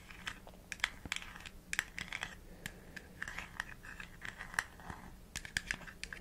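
Long nails tap rapidly on the flat white plastic screw cap of a small, hollow plastic supplement bottle with an orange label, held in the hands. The result is a quick, uneven run of sharp, dry clicks with a bright, hollow plastic tone near 2 kHz that stops almost instantly, over a faint low background hiss.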